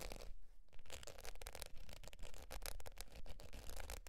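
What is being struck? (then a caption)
Faux leather zip wallet. Long pointed nails scratch the surface of a beige textured faux leather zip wallet lying on fur. Quiet, dense scratching strokes repeat about twice a second over a low rumble, with brief bright rasps on each pass.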